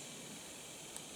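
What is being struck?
Nothing is struck.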